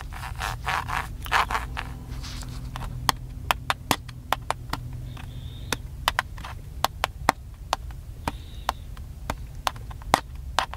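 Fingertips and nails tap and scratch a small, hollow, black plastic handheld camcorder. Soft scratchy rubbing in the first two seconds gives way to a long series of sharp, dry clicking taps. Each tap is bright and dies out instantly over a steady low hum.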